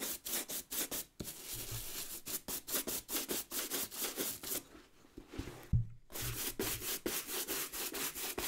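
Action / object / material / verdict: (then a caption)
scrape / leather work boot with rubber sole / leather / none. A wooden-backed bristle brush is stroked quickly back and forth over the leather upper and toe of an empty brown leather work boot with a rubber sole, held by hand. The result is a fast run of bright, scratchy brushing strokes. A brief pause with a low thump comes near the middle before the brushing resumes.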